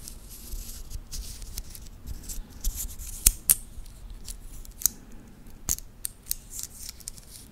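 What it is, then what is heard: Titanium watch band. A titanium watch band with a clasp is handled by fingertips that flex and work its links. Bright, metallic clicks and light scraping come at an irregular pace over a soft, rustling background, with a few sharper snaps standing out.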